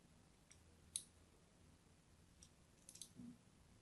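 A solid purple-and-white striped soap bar is held in hand and scored in lines with a thin blade. Four quiet, bright, crisp scratching and cutting clicks sound over a faint low background rumble. Each click stops almost instantly, with the sharpest one near the start.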